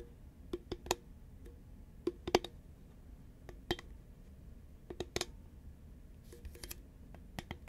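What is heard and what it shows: A hollow green Pringles chip can made of paperboard, held at an angle, is tapped with long nails. Light, irregular clicks and taps come in loose clusters, each with a brief hollow tone around 360 Hz that dies away almost instantly over a quiet background.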